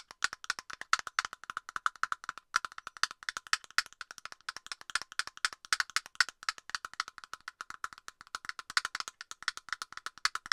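Long nails tap rapidly and continuously on the hollow plastic cap of an aerosol can, making a fast stream of dry, hollow clicks. The clicks are short with almost no ring and no low end, centered around 1.5 kHz with some bright edge.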